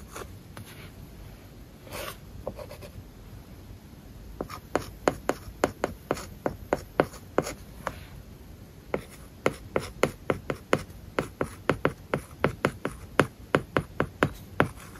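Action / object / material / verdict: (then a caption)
scrape / tablet glass screen with matte plastic film / plastic film / none. A stylus writes an English word and kanji on an iPad screen covered with a matte, paper-like plastic film. The first few seconds bring soft, scratchy strokes. Then comes a steady run of short, dry taps and scrapes with almost no ring, set against a faint background hiss.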